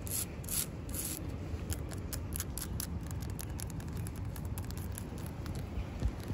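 Long acrylic nails scratch and rub the rough, furrowed bark of a large, solid living tree trunk covered in green lichen, outdoors. Quick, crisp scratchy rasps come in rapid, irregular bursts over a steady, low rumbling background.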